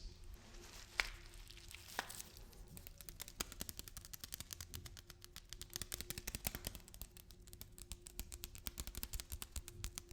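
A package of lentils is tapped and handled. Quiet crinkly plastic taps and soft rustling start sparse, with a few sharper clicks in the first seconds. They then turn into a fast, steady run of short, bright taps toward the end.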